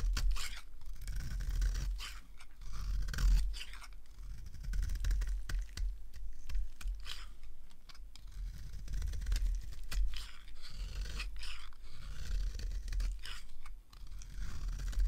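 A small blade carves curled shavings from the edge of a dry, light green oval soap bar held in the hand. Continuous scraping and crisp cutting scratches come in repeated strokes over a low, steady rumble.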